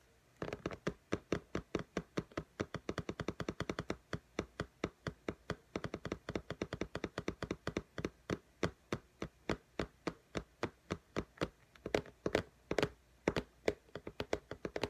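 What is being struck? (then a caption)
Tablet with glass screen in a case. Long nails tap on the glass screen of an iPad lying flat in a pink case. The result is a steady stream of dozens of short, dry clicks with a mid-pitched knock and almost no ring, sometimes in quick flurries and sometimes spaced out.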